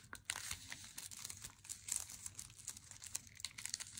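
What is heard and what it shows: Long nails tap and scratch the edge and front of an unopened Lindt Swiss Classic flat cardboard chocolate box, held and then laid on a wooden table. The result is a quiet, steady run of quick, dry, crinkly clicks and scrapes. The sound is almost entirely high and bright, with each tap dying away at once.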